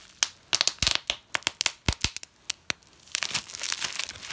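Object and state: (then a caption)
Bubble wrap being popped. Clear plastic bubble wrap with small air-filled bubbles, rolled into a tight tube, is gripped in both hands and twisted and squeezed. It gives a quick series of sharp, bright pops as many bubbles burst at once. These give way to a denser stretch of crushing and crinkling plastic.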